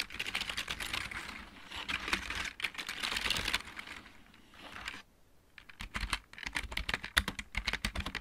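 Fingertips of both hands type on a backlit plastic computer keyboard with mechanical keys. Rapid, bright clicky keystrokes run in dense bursts, with a brief pause around the five-second mark before the typing resumes.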